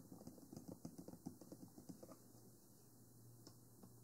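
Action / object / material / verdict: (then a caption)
tap / plastic binaural microphone body with silicone ears / plastic / none. Fingertips and nails tap the lower body and white silicone ears of a 3Dio Free Space binaural microphone, a small hollow black plastic box on a stand. A quick, uneven run of soft, dull clicking taps over the first two seconds gives way to a quieter stretch with only a couple of faint taps. A low steady hum sits underneath throughout.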